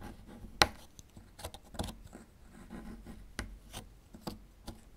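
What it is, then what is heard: Plaster excavation block being scraped. A small metal chisel tool scrapes at a small, solid plaster fossil excavation block as the block is turned. Short, bright scrapes and gritty taps sound against a quiet background, with one sharp, loud tick near the start and several softer scratches after it.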